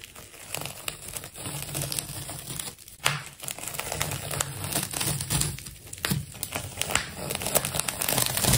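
A large silver-blue ball of solid, layered plastic tape is sliced open with a metal craft knife. Dense, continuous crinkling and crackling runs throughout, with sharp tearing bursts as the blade cuts through the wrapped layers.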